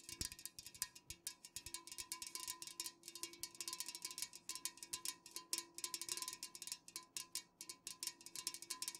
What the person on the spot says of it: fast-ish nail tapping on unopened cans